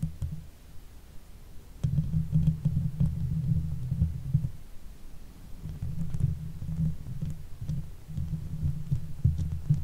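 A silver Blue Yeti microphone's hollow steel mesh grille is scratched with the long white fake nails of both hands. The result is a dense, low rumbling scrape with soft throbbing texture: quieter at first, then louder from about two seconds on, with brief dips and faint high ticks.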